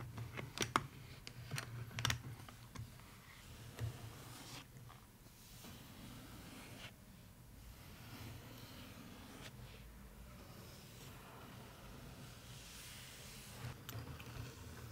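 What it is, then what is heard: Cardboard suitcase box tapped with nails. Long nails tap on the lid and sides of a small, hollow floral cardboard suitcase box with a striped side and a metal handle and clasp. Several sharp, bright clicks come in the first few seconds, followed by quieter, softer tapping and light scratching over a steady low hum.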